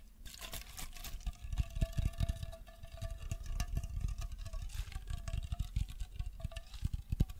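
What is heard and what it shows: A green aluminium aerosol spray can, likely hairspray, is hollow and held horizontally in both hands while fingertips and nails tap and scratch along its body. A rapid, continuous stream of soft, dull taps carries deep low thumps, with a faint metallic ring running through the scratching.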